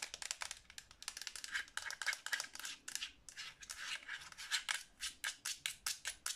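Long nails tap quickly across the shell and buttons of a hollow black plastic Xbox 360 controller held in both hands. The result is a rapid run of sharp, dry clicks with bright, crisp highs and almost no low end, each tap dying away almost instantly.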